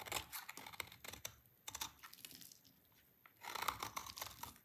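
A small, dry, solid oval soap bar with pink and white stripes is held in hand and shaved with a utility knife. It makes bright, crisp crunching and scraping bursts, with a quieter gap partway through before a denser flurry of shaving at the end.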